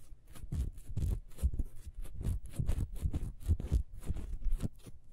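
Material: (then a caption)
Wax. Long nails scratch quickly across a small, solid, ribbed wax beehive candle held in the hands. The result is a steady run of short, dry, raspy strokes with a low, dull thump beneath them and faint bright hiss on top. Each stroke stops almost instantly, with no ring.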